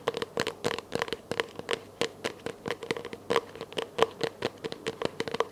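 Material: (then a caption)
Plastic. A small, hollow, empty clear plastic container held in both hands is tapped with long nails, giving 28 quick, dry clicks with a hollow tone near 457 Hz and bright edges. Each tap dies away almost at once, with faint crinkling between taps.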